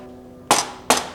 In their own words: That's cheap plastic.